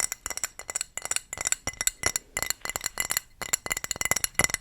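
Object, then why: Glazed ceramic wall tile. A thrifted dark blue decorative ceramic wall tile, showing a donkey and women with fruit and with a plain ceramic back, is tapped about twenty times in quick, uneven succession. Each tap gives a short, bright, glassy clink centered high around 2 kHz that dies away almost instantly, with almost no low end.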